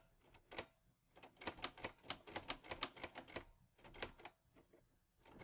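Fingertips type on the keys of a mint-green Olivetti Lettera 22 portable manual typewriter with a metal body and paper loaded, the hands moving across the keyboard. About sixteen crisp, bright metallic key strikes come in quick, uneven bursts with brief pauses between them. Each clack dies away almost instantly.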